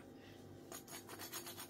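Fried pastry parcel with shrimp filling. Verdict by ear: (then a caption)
Crispy. A fried shrimp briouat, a crisp pastry, is scraped or rubbed to show how crunchy it is. Dry, crackly rasping bursts start about 0.7 seconds in after a quiet start. The pastry sounds very crispy.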